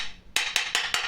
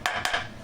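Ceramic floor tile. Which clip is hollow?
The second.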